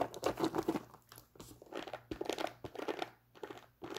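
Long nails scratch and tap the leather upper of an empty tan nubuck leather Timberland work boot with metal eyelets and a thick rubber sole. Quiet, dry bursts of rough scratching alternate with brief soft taps that have almost no ring. Short silent pauses separate the bursts.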